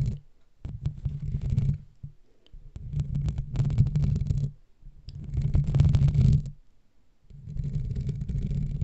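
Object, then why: Foam microphone windscreen. Fingertips and nails of both hands scratch and rub a black foam windscreen on a microphone. The result is a deep, muffled, rumbling scrape, almost entirely low in pitch, that comes in several long bursts separated by brief quiet gaps.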